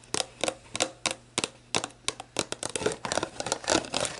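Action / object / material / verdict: tap / empty plastic drink bottle / plastic / none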